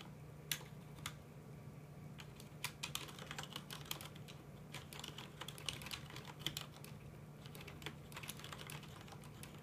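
Both hands type with their fingertips on a full-size black plastic mechanical computer keyboard with red keycaps. Quick, bright plastic clicks come in uneven bursts over a steady low hum, each keystroke dying away almost at once.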